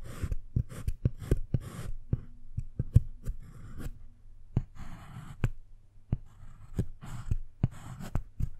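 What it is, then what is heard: Dark chocolate bar being carved. A wooden-handled metal carving tool scratches letters into the squares of a segmented solid dark chocolate bar, leaving curly chocolate shavings. Short, dry scraping strokes alternate with sharp little clicks as the blade digs in and lifts off, over a faint low steady hum.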